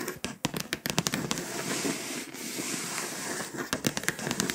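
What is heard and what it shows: Long pointed acrylic nails tap and scratch the foil surface of a flat, foil-coated paper scratch-off map poster. Sharp, bright clicks open and close the clip, with a steady, hissy scraping in between.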